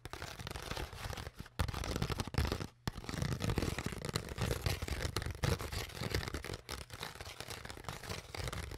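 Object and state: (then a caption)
Empty crushed plastic water bottle. Long nails scratch and tap the crinkled surface of an empty, partly crushed, hollow clear PET plastic water bottle while hands squeeze it. The result is a dense, continuous run of crinkling crackles and quick tapping clicks over a heavy low, thumpy body, with a few brief pauses.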